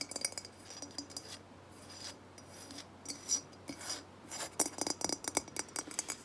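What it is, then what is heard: Terracotta jug. Long nails scratch and tap the matte clay body of a hollow, unglazed terracotta jug held up in the hands. Bright, dry rasping scrapes alternate with quick, clicky taps that die away almost instantly, with the taps clustering into a fast run near the end.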